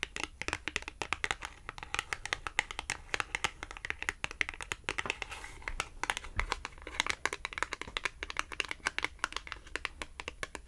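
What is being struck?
Small glossy cardboard tag tapped with fingernails.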